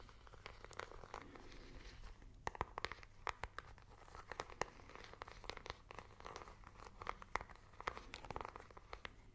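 A small, hollow plastic infrared remote control is tapped and scratched with long nails close to the microphones. Quick, dry clicking taps with almost no ring are scattered over a steady scratchy, crinkly rustle centered in the midrange. The sound is quiet overall, with a faint low hum underneath.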